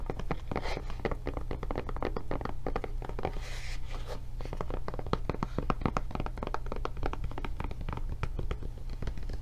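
Long dark nails tap and scratch the surface and edges of a blue silicone rubber kids tablet case with a handle flap, thick and padded over a solid tablet and held in hands. Rapid dull taps and soft scratchy rubs run throughout with no ring, over a steady low hum.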